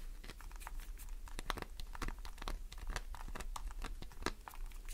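Long nails scratch the grooved face of a solid green glycerin soap bar held in the hand, with a pile of shavings below. The sound is a rapid run of short, crisp scraping and crinkling strokes over a low steady hum, each stroke stopping almost at once.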